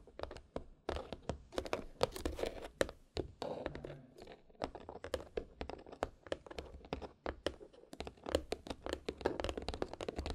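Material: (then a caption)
Cardboard. Long nails scratch and tap the lid and red ribbon of a small hollow white cardboard gift box, giving a dense run of quick, dry taps and scratchy rustles. The clicks are short with no ring, holding a papery midrange body and a faint low thump.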